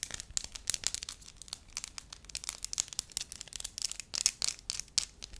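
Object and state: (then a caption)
Pliable wax sheet. Long lavender nails and fingertips stretch, crinkle and tap a thin, flat, hand-sized sheet of pale yellow wax. The result is a dense run of quick, crisp crackles and sharp ticks, bright and high with almost no low end, each dying away almost instantly.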